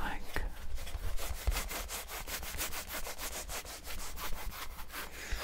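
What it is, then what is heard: Rubber mini basketball being scratched. Fingertips and nails scratch and rub the pebbled surface of a small, hollow, orange textured rubber mini basketball held in both hands. The result is a steady, rhythmic series of quick, bright scratching strokes, about three per second, over a soft low rumble.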